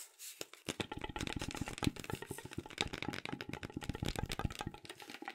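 Hands grip, twist and rub a long, hollow brown cardboard mailing tube held upright close to the microphone. The result is a dense, continuous run of quiet scratchy, crackling rubs and small taps with a hollow, low-toned body and bright papery edges.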